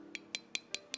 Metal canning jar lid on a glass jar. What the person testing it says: hear how solid that is